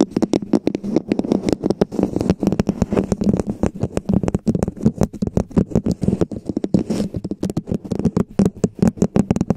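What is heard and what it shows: Long painted fingernails scratch and tap along the sides of a hollow red plastic cup-shaped cover resting on a foam base. The result is a dense, fast run of short, dry clicks and scrapes. They carry a hollow, low body around 200 Hz and almost no high end.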